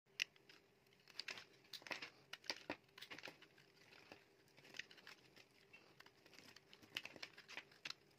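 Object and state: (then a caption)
Dry bar soap being shaved with a blade. A palm-sized bar of solid, dry yellow soap is held in the hand while a metal utility knife blade shaves and carves curls and flakes off it. Many short, crisp scraping and crackling cuts follow one another, bright and dry with almost no low end. A faint steady tone hums beneath them.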